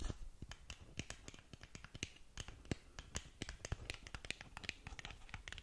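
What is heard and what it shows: Long nails tap and scratch the face of a long, narrow black cardboard lip gloss box held close to the mic. A rapid, uneven run of sharp, dry clicks and brief scratchy strokes has bright highs and a soft low thump under each tap. Every sound dies away almost instantly.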